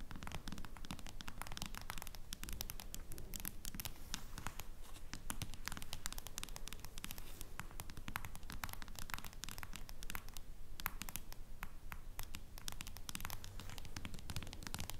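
A smartphone in a clear plastic case lies flat while long nails tap rapidly on it for the full clip. The result is a dense, steady stream of quick, dry clicks and scratchy taps with almost no ring. A low hum runs underneath.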